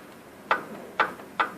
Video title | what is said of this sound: Фиат Палео 1.2 Двигатель троит. Глухой стук под нагрузкой. | жесткий стук металлом метал но он будет как бы немножко приглушенный потому что стать бьется по алюминию